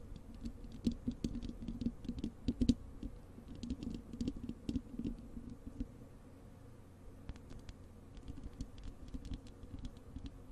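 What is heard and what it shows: Long acrylic nails scratch and tap the bare, hollow wire-mesh metal grille of a large desktop microphone. Quick, dry clicks and soft scratching patter arrive in dense clusters, with a low, hollow body and faint bright edges. The activity is busiest in the first half, eases briefly around the middle, then picks up again.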